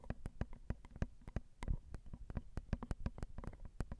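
Long acrylic nails tap quickly on the crossed silver metal X/Y microphone capsules of a Zoom recorder, small and hollow capsules. Each tap lands as a short, close, low thump with a sharp, bright click on top, dying away almost at once. The taps come in a rapid, irregular flurry with a brief softer rustle in the middle.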